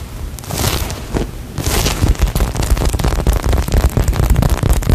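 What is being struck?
Polyurethane foam squishy toy.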